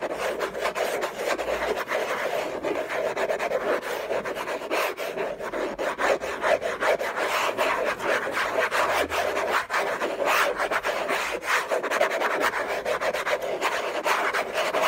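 Fingernails scratch the lid of a hollow orange Hermès cardboard gift box in a steady, rasping stream of dense friction noise that centers in the low-mid range. Short vertical bursts punctuate the scratching, with a brief pause where the hand comes off the box.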